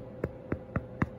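Four knocks on the top of a freshly baked golden-brown Russian round loaf to test doneness, each a short, dull, low thump. The hollow sound shows the bread is baked through.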